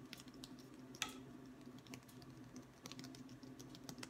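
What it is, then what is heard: Wooden ruler. A long, thin, solid wooden ruler is held in one hand and tapped along its face with the fingertips of the other, its far end possibly resting on a wooden table. Quick, dry, bright taps patter unevenly over a faint steady low hum, with one sharper, louder tap near the one-second mark. Each tap dies away almost instantly.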